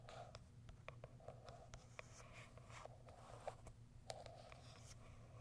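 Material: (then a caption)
Cardboard. Long white acrylic nails scratch and tick across the sides and top of a small white printed Kiara Sky cardboard product box. A quiet series of short, dry scrapes and sharp clicks plays over a steady low hum. Each click fades almost at once.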